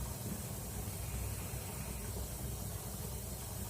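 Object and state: Nothing is struck.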